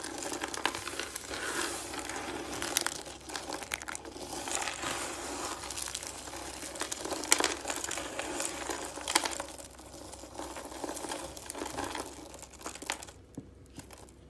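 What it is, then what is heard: Dry shredded soap crushed by hand. A pile of shredded dry green soap is crushed and rubbed between the fingers, making a steady dense crinkling and crunching. The texture is bright and crackly, with many short sharp snaps and almost no low end, and it thins out near the end.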